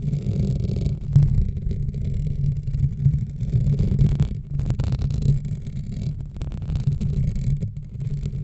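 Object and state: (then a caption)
Metal mesh microphone grille being scratched. Long nails of both hands slowly scratch over the top and sides of the dark metal wire-mesh grille on a large USB desk microphone with a hollow head. The sound is a close, dense, boomy rumble, almost entirely low, with faint scratchy texture above it. It swells and eases continuously, with a few louder scrapes along the way.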